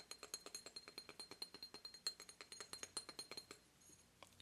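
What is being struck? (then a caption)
Obsidian statue. An obsidian statue of a goddess is tapped in a quick, uneven run of glassy clinks, each with a bright, high ring that dies away almost at once. The taps soften and thin out over the last second.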